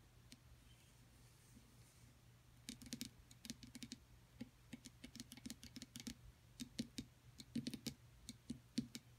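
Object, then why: Plaster excavation block. A solid rectangular plaster excavation block is held and then set on a table, and long acrylic nails tap across it. After a quiet opening of low steady hum, a rapid, uneven run of dry, crisp taps begins, each with a short thud near 250 Hz and a bright click that dies away almost instantly.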